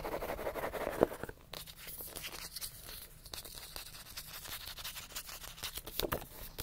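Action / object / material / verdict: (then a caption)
scrape / paperback book, paper pages and card cover / paper / none. Fingernails scratch fast across the page edges and cover of a solid paper paperback book. The result is a dry, raspy, papery scraping in quick bursts, with a sharp click near the start, a quieter stretch in the middle, and bright strokes picking up again at the end.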